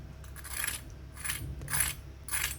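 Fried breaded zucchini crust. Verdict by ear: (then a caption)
Crispy. Four crisp, bright crunches come from the golden fried crust of breaded zucchini stuffed with ham and mozzarella as it is pressed, each a short dry crackle over a low steady hum. The crust sounds crunchy.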